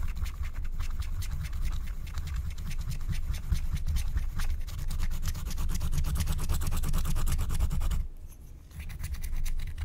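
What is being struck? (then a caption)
Wax-coated paper scratch-art card. A wooden stylus scratches the black coating off a flat, thin Care Bears scratch-art card of wax-coated paper lying on a table, held by long painted nails. Quick, steady scratching strokes run almost continuously with a heavy low rumble and a fine bright rasp. They pause briefly near the eight-second mark, then resume.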